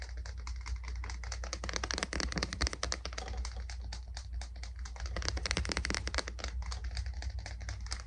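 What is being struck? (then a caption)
Wooden boot brush body. The wooden body of a boot brush is tapped rapidly with fingers, producing a dense run of short, dry clicking taps like fast typing. The taps surge louder around two and again around five to six seconds, over a steady low hum.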